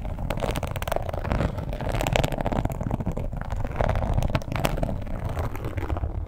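Long pointed nails quickly scratch and tap the embossed scales of a red, glossy, croc-embossed leather wallet. The result is a dense, steady, low-heavy rustling scrape, broken by rapid soft taps and occasional brief bright clicks that die away almost at once.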